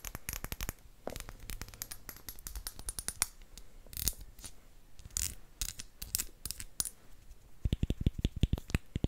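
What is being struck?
Small round glass bottle with cork stopper.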